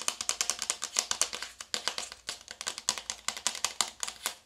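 Long acrylic nails tap and scratch rapidly on a small, flat, hollow navy cardboard makeup palette box held in both hands. About thirty crisp, bright, dry clicks and scrapes follow one another, each dying away almost instantly.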